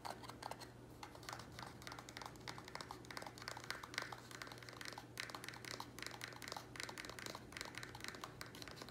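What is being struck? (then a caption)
Small square plastic nursery pot. Nails and fingertips tap quickly on a small, empty, hollow square black plastic nursery pot held in both hands. The result is a quiet, rapid stream of light, dry clicks and taps with a bright edge and almost no ring. A steady low hum runs underneath.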